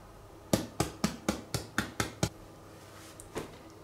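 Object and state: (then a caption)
Whole-grain bread baked through (hollow). A whole-grain wheat loaf, baked 10 more minutes out of its tin to a finished crust, is knocked eight times in quick, even succession. Each knock is a short, hollow thud that dies away fast, showing the bread is baked through. A couple of fainter taps follow.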